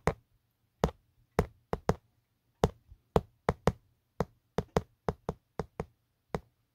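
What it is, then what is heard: Plastic phone case. A fingertip taps and knocks on the textured hard plastic back of an empty, hollow black Otterbox phone case. Seventeen short, dry knocks land in an uneven rhythm, each dying away almost at once, over a faint low hum.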